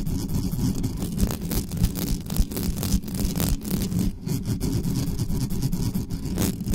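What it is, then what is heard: Metal mesh microphone grille being scratched. Long nails on both hands scratch quickly up and down the hollow metal mesh grille head of a black condenser microphone. The result is a dense, continuous scraping rasp heavy in low rumble, with brief bright scratch strokes flickering through in an irregular rhythm.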